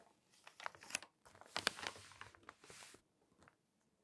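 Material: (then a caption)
Glossy paper. Pages of a thin glossy magazine, a forest-themed issue lying open, are turned while fingertips and long acrylic nails rub across the page surface. Quiet, bright crinkling and papery rustles come in uneven bursts with sharp crisp ticks, fading to near silence with a few faint scratches at the end.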